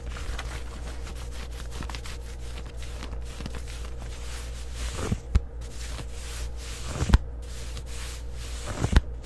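Long white acrylic nails scratch the waistband and back pocket of worn, black, distressed denim shorts made of soft fabric. A steady, dry, rasping scratch runs over a low hum, with a few louder, sharper scrapes standing out toward the end.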